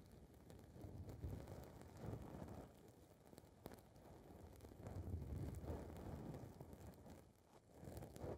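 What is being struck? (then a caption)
Foam microphone windscreen. Long red nails scratch and rub a small blue foam windscreen ball on a recorder's microphone capsule. The result is a dense, close-up rumbling rustle, heavy in the low end, with crackly scratches that swell and fade in uneven waves.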